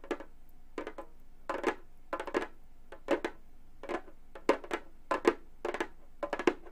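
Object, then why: Frame drum with synthetic skin head. Gold metal claw nails on both hands tap a hollow Remo frame drum with a synthetic skin head. Quick clusters of light, clicky taps with a soft mid-pitched drum tone come in uneven bursts, each dying away almost at once. The result is quiet, dry percussion.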